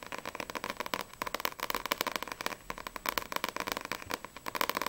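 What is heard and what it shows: Long nails tap quickly on the glossy paper front cover of Sprite volume 1, a small, solid paperback manga book held upright. About 29 sharp, dry clicks land in rapid, uneven bursts, each bright with a tone near 1 kHz. They have almost no low end and die away at once.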